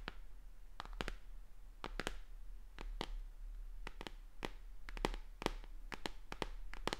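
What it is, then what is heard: Plastic tablet tapped with fingernails. Long dark-painted nails tap and scratch along the edge and back of a thin white tablet held upright in one hand, a flat, hollow electronic device with a plastic frame and glass screen. Quick, dry clicks come in uneven bursts, each dying away almost at once, over a soft, low steady hum.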